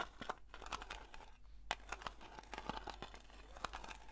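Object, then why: Round metal cream tin lid. Long nails slowly scratch the printed lid of a round blue metal Nivea cream tin, making quiet, dry scraping and crinkling strokes with brief bright ticks. A faint metallic tone near 850 Hz runs under the strokes, and a sharper click stands out partway through.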